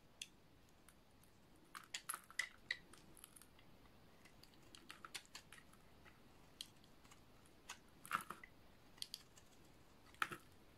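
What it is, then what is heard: Dry bar soap being shaved. A snap-off utility knife blade shaves a hand-sized, solid light blue oval bar of dry soap, peeling off curled strips. Short, crisp crunching scrapes and clicks come at irregular intervals against a quiet background, each dry and bright with almost no ring.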